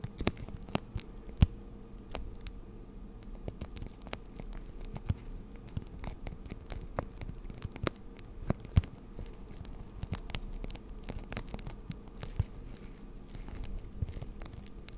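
A hand-sized clear plastic blister pack holding pastel markers is held up and scratched and tapped with long nails. The result is a steady, quiet patter of crisp, short clicks over soft crinkly scratching, with a low hum underneath.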